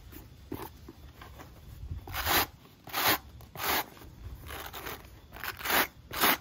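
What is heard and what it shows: A wooden-handled wire brush scrubs the black rubber outsole of a sneaker with a textured nub pattern, held in hand. Bright, crunchy scratching strokes come in uneven bursts over a quiet low rumble.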